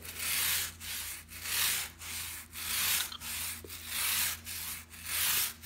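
A small white plastic bristle brush, held in the fingers, is brushed and scratched back and forth across the pile of a brown and black patterned shag rug lying flat on the floor. About ten bright, airy scratching strokes follow one another in a steady rhythm, with short dips between them. A faint low hum sits underneath.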